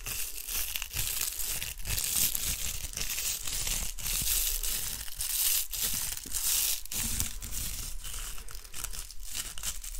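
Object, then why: Small plastic hair roller. A small, hollow, spiky-textured pink plastic hair roller is scratched and tapped with long nails and fingertips. The result is a steady, bright, crackling scratch with soft low thumps from the taps. The sound runs continuously for the whole clip.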